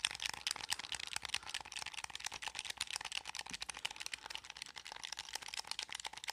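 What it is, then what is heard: Plastic game controller buttons. Fingertips rapidly tap and click the buttons of a blue hollow plastic gamepad held close to the microphone. The result is a dense, steady stream of bright, dry plastic clicks with almost no low end and no ring after each press.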